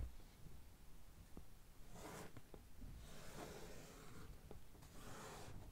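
Long nails of one hand scratch across the top of a medium, closed, hollow brown corrugated cardboard shipping box. Soft, dry scraping swells in bright bursts over a low rumble, with a few brief ticks from the nails catching the surface.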